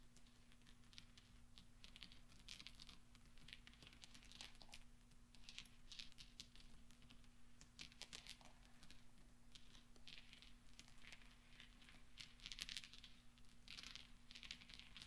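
Fingertips with short, dark-painted nails roll and clink a loose pile of small solid steel pachinko balls on black velvet, and rings on the fingers may add slight metal contact. Quiet, bright metallic clicks and rattles come in scattered clusters throughout, over a steady low hum.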